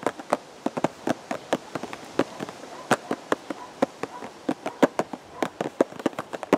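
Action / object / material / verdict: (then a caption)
tap / cardboard box / cardboard / none. A hollow purple and white cardboard teacake box, held at the chest, is tapped with the fingertips of both hands. About thirty quick, dry taps fall in an irregular rhythm, each a short hollow knock centred near 535 Hz with almost no ring, over a faint steady background hiss.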